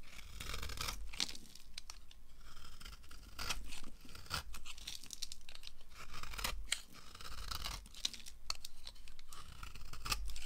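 A solid yellow oval bar of dry soap, held in the hand, is carved with a red-handled knife, the blade briefly off the bar at the start. Crisp, bright scraping and crunchy shaving strokes follow one another with short pauses, each sounding dry and tearing-like over a soft low rumble.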